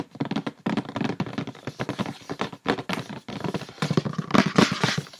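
Long painted fingernails tap quickly on the top and sides of a tilted, hollow, medium-sized printed white paperboard gift box from a beauty product set. The result is a dense run of dry, hollow papery clicks with a low-mid body and almost no ring, with brief pauses between flurries and a brighter, louder burst near the end.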